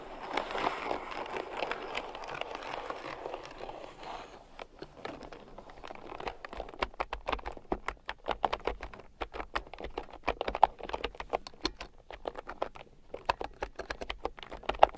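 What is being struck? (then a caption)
Plastic keyboard with round keycaps. Fingertips and long nails type on a red plastic keyboard with round, typewriter-style plastic keycaps lying on a fur rug. A soft, dense rustling clatter fills the first few seconds, then gives way to rapid, sharp, bright plastic clicks with very short decay, varying in loudness through the rest of the clip.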